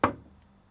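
A desk, or table, is tapped once and heard normally through the air. The tap is a short, dry knock centered in the low-middle range, with a quick decay of under a tenth of a second.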